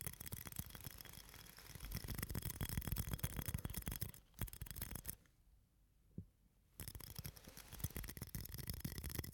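A small, clear, hard-plastic shot glass, hollow and empty, is held in both hands in front of the face and cupped and tapped with fingertips and nails. The result is a dense, irregular run of quick, dull, bass-heavy taps with crisp clicks, broken by a near-silent pause with a single soft tap before the tapping resumes.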